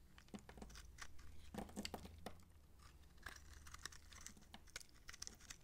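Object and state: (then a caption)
Dry soap bar being cut. A utility knife blade slices and scrapes the bumps off a dry, solid, bumpy purple massage soap bar held in the palm, breaking them into crumbly pieces. Quiet, dry, crisp crunches and scratchy clicks repeat in quick, uneven bursts, bright and short with almost no ring, over a low steady hum.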